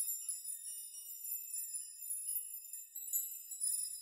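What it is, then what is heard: Metal nail chime. Hands brush and rock the many thin metal rods, or nails, hanging on both sides of a metal nail chime so they strike one another. The result is a quiet, continuous shimmer of bright, high tinkling with sustained ringing tones and no low end.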